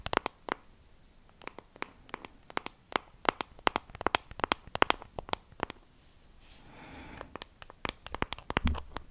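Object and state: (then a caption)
Plastic compact case tapped with nails. A small, flat, hollow pink plastic compact case with a textured pattern is held in the hand and tapped and scratched with long acrylic nails close to the microphone. Quick, irregular bursts of sharp, bright clicks dominate, with a brief stretch of softer, hissy scratching around the middle before the tapping picks up again. Each tap is dry and dies almost instantly, with little low-end weight.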